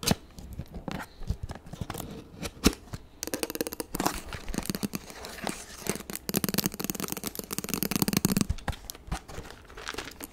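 Extra long acrylic nails tap and scratch the front and sides of a hollow, medium-sized printed cardboard toy kit box. Sharp, dry clicks mix with rasping, papery scratches that sound almost like tearing or crinkling, with a bright edge and a dull hollow thump underneath. Each tap dies away almost instantly, and the busiest stretches of scratching build a dense, continuous scraping texture.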